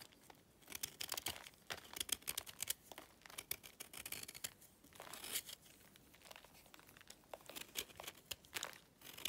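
A utility knife blade scrapes across the edge of a solid, pale, dry clay chunk, shaving off powdery flakes. The sound is a quiet, dry, crackly scraping made of many short, bright crunchy bursts with almost no low end, coming in uneven clusters with brief pauses between strokes.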